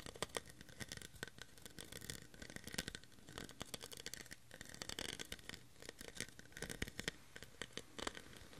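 A clear, hollow, empty cut-crystal-style plastic tumbler is held in the hand while fingernails scratch and tap along its ridged surface. The result is a dense run of quick, crisp, bright clicks and scraping rasps with almost no ring. It stays quiet and close throughout.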